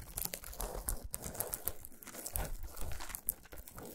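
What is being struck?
Chocolate bar in aluminium foil.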